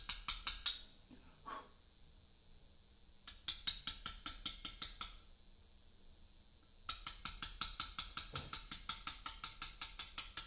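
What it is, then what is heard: Portland limestone slab being cut with mallet and chisel. A carver leans over a large, solid Portland limestone memorial slab and taps a chisel into its surface with a mallet. Quick, bright, dry clicks come in bursts with short pauses between them, and the longest steady run fills the last few seconds. Each tap is sharp and dies away almost at once, leaving a high, thin sound with little low end.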